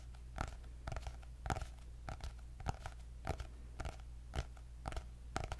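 Long nails tap and scratch a white hardcover notebook with gold dots and a cardboard cover, making quick, dry, irregular clicks with short bright bursts. The taps die away almost instantly over a steady low hum.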